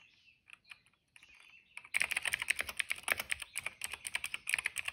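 Fingertips of both hands type on a retro-style cream plastic mechanical keyboard with dark and purple plastic keycaps and a hollow case, resting on a rug. A few soft, sparse clicks come first, then from about two seconds in a steady, dense run of sharp, bright plastic clacks with almost no low end, centered around 2 kHz.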